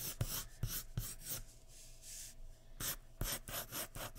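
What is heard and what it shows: The tip of a graphite pencil scratches repeated hair strokes across a large flat sheet of white drawing paper resting on a wooden surface. About eight quick, bright, raspy strokes each land with a soft low thump, separated by a quieter stretch of light rubbing in the middle.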